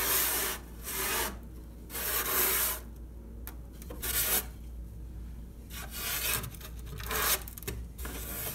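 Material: Wood.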